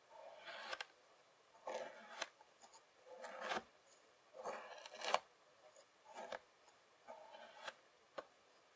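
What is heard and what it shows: A white plastic fork scrapes its tines through a packed strip of beige kinetic sand and then slices it with the fork's edge. There are seven quiet, gritty strokes, each ending in a sharp little tick as the fork pulls free. The last is a lone short tick.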